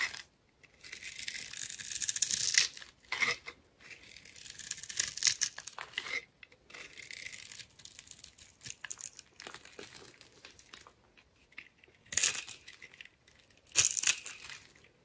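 A utility knife blade scores and carves a hand-sized, solid purple bar of soap with a dark glittery coating, held in one hand, into small cubes as crumbs fall away. The sound is a dry, bright scraping and crackling, almost entirely high-pitched with no low end, coming in longer rasping strokes broken by short sharp cuts and brief pauses.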